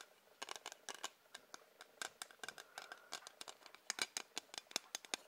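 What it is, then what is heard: Hard plastic ruler. Tapping on a hard plastic ruler produces a quick, uneven run of sharp, dry clicks. The taps are bright and high-pitched, with no low end, and each one stops almost instantly with no ring.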